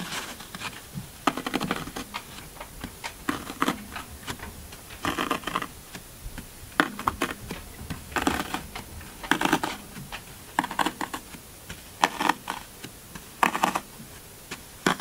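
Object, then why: Green floral foam block. Single fingertips poke and press new dents into the top of a solid green floral foam brick already covered in finger dents. Each press gives a short, dry, crunchy crackle with bright, brittle detail, coming in irregular bursts separated by brief quiet gaps.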